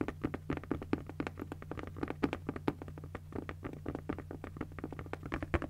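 A pink padded nylon fabric cosmetic bag is tapped and scratched with long nails, giving a quick, uneven run of soft, dull taps with brief scratchy brushes between them. Each tap dies away almost at once, over a steady low hum.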